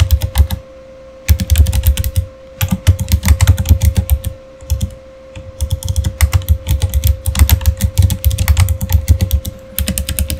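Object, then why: Plastic computer keyboard. Fingertips of both hands type quickly on a Razer Fire keyboard, a solid, full-size, backlit plastic gaming keyboard. Rapid bursts of short, muted clacks with deep, thumpy bodies come in runs separated by brief pauses, over a faint steady hum.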